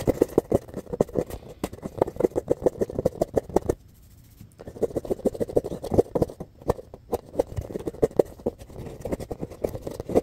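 A solid, palm-sized, rainbow-colored foam ball with a lightly textured surface is scratched and rubbed with fingertips and nails. Quick, dense, dry scratching strokes with a mid-range, hollow tone run almost continuously, broken by a brief near-silent pause around four seconds.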